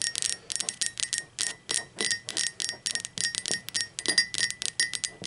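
Long pointed acrylic nails tap the sides of an upright, hollow, blue speckled glazed ceramic mug in a quick, irregular string of taps. Each tap is a bright, crisp click with a faint ringing tone that dies away almost at once, with almost no low end.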